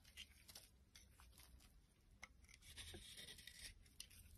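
A utility knife blade shaves long curls off the edges of a solid white soap bar with blue remnants, held in the hand. Quiet, crisp scraping strokes come in an irregular series, each a short, bright, hissy rasp with a few sharper ticks and little low end.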